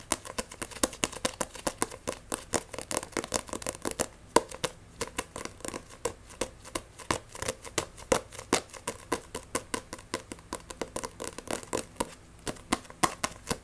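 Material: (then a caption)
Paper. Fingernails tap and scratch fast across the glossy cover of a Blue Exorcist paperback manga while the book is gripped. The result is a rapid stream of short, dry, bright clicks with a brief pause around the four-second mark. A faint rustle of scratching runs between the taps.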